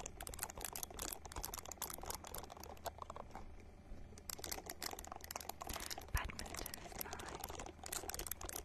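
A small, hand-sized purple silicone ball is held close to the microphone and scratched with long nails, making a dense run of quick, crisp tapping and scratching clicks that sound bright and dry. Under it runs a steady low hum, and the scratching briefly thins out around the middle before picking up again.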